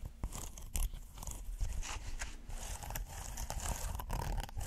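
A red textured silicone pot holder is folded and rolled in the hands while fingernails scratch and squeeze it. The result is a steady run of soft, crackly scratching and rubbing with bright rasping edges over a low, muffled rumble, broken by a few sharper clicks.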